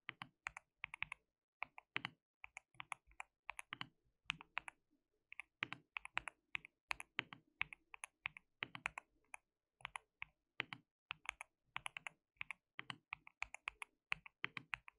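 Fingertips of both hands type on a white plastic mechanical keyboard with translucent keycaps. Quick, bright plastic clicks come in irregular bursts with short pauses, each keystroke dying away almost instantly.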